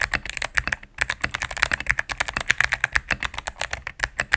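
A cream full-size mechanical keyboard with plastic keycaps on a solid plastic case is typed on rapidly with fingertips and medium nails. About 30 quick, dry key clicks land in a steady stream, each sharp and bright with a tone near 1.7 kHz and almost no ring. There is very little low-end thump.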